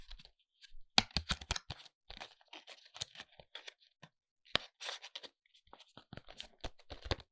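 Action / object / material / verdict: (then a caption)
tap / small paperboard cosmetic box / paperboard / none. A small, hollow white ALBION paperboard foundation box is held in both hands and tapped with short fingernails on its front face. The result is a quick, irregular series of dry, bright taps and scratchy clicks, each dying away almost at once, with a few sharper, louder hits standing out.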